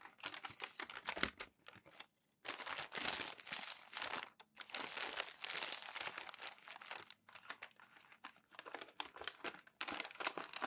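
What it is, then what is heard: Glossy magazine paper being crinkled and smoothed. Hands rub, flatten and turn crinkled glossy magazine pages on a tall stack. Dense, bright crinkling and rustling comes in bursts, separated by brief silent gaps, with no low end.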